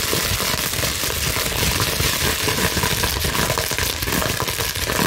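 A large clear plastic bubble wrap sheet is scratched and squeezed with long nails and fingers. The result is a steady, dense crackling and crinkling with bright, hissy texture and soft low thumps underneath, holding an even level throughout.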